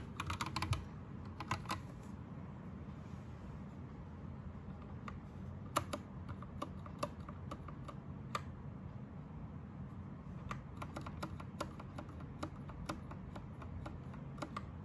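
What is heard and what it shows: An Anne Pro 2 60% mechanical keyboard with plastic keycaps and a teal-to-green backlight is pressed by one hand with the fingertips. Sparse, uneven key presses give short, dry clicks with a mid-range tone over a low, steady background hum. Brief clusters of taps are separated by quieter gaps.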